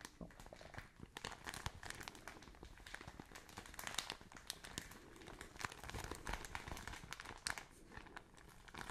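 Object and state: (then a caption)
Plastic bag of cotton wool. A soft plastic film package filled with cotton wool is held close and squeezed and crumpled by hands with long painted nails. It makes a continuous stream of dense, bright crinkling and crackling with small soft pops, at a steady, quiet level.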